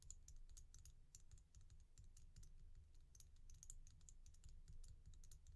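Fingernails tap and scratch on the glossy red-black beads of a resin bead stretch bracelet held in the palm. A quick, irregular patter of short, bright clicks sits over a steady low rumble, and each click dies away almost at once.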